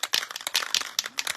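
An aerosol spray can of lacquer is shaken, and its mixing ball rattles freely inside in a quick series of about eight sharp, bright clacks with almost no low end or ring. The free rattle shows the ball is loose and the contents are mixed, so the can is well shaken.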